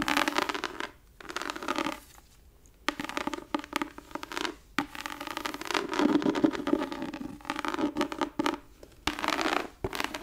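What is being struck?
Embossed leather book cover.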